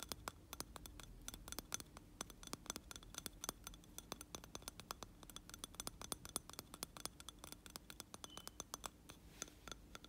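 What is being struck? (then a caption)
Glass candle jar filled with wax. A hand holding a lit candle in a round glass jar filled with wax scratches and taps the outer glass with its nails. Many quick, bright, dry clicks fall in an uneven rhythm over a soft, steady scratching hiss, each tap dying away almost at once.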